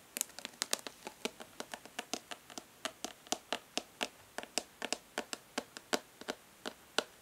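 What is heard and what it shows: Long nails tap and lightly scratch along the raised embossed letters on the lid of a rectangular hollow plastic eyeshadow palette held in one hand. About 34 quick, dry, bright clicks land at a fast, steady pace, each dying away almost instantly with no low-end body. Faint scratchy texture fills the spaces between them.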